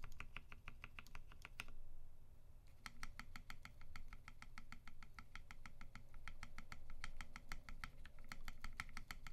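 A UTD 360C tenkeyless mechanical keyboard in a gummy-worm mount, with Vintage Black switches lubed with 205g0 and filmed, white PBT keycaps and a silver aluminum case, is typed on as one finger presses keys one by one on the right side in a key-by-key switch test. A steady run of short, crisp clacks with a bright edge sounds over a low background rumble, with a brief pause near the two-second mark before the presses resume.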